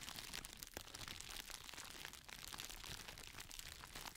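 A thin, clear, textured plastic crinkle packaging sheet, folded and held in both hands, is crinkled and squeezed by the fingertips while it is moved from one side of a microphone to the other. The result is a steady, dense stream of bright, crisp crackles and crunches with very little low end and no ring after each crackle.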